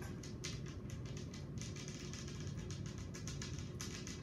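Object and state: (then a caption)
Glass tabletop tapped with nails. Long acrylic nails on both hands, worn with rings, tap across a large, flat, solid glass tabletop. The result is a fast, irregular stream of bright, crisp clicks over a steady low hum.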